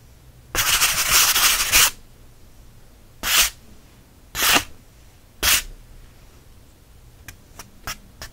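A thick, rough-textured cream sheet of cotton watercolor paper is held in one hand while the fingertips and nails of the other hand rub and scratch it. A long, bright rasping rub is followed by three short, separate scratches, then four faint quick ticks at the end.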